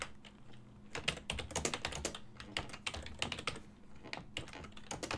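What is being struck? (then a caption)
Plastic computer keyboard. Fingertips type steadily on a full-size silver-and-black plastic desktop keyboard with hollow key switches, giving a continuous run of quick, bright, clacky key taps that stop dead with almost no ring. A faint steady low hum sits underneath the irregular bursts of typing.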